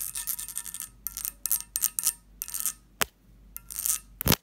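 Long fingernails tap and scratch the textured surface of a medium, hollow, empty pressed-glass candy dish with a lid. Bursts of bright, rasping scratches alternate with short glassy clicks, broken by a sharp tap around the three-second mark and a louder clack at the end.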